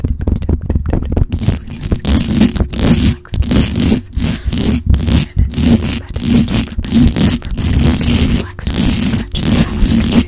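Long pointed acrylic nails scratch and tap fast and aggressively on the hollow metal mesh grille of a black condenser microphone. The result is a dense run of rough, rasping scrapes and quick clicks that are heavy in low, boomy rumble with a faint bright edge. Short gaps break up the continuous scratching.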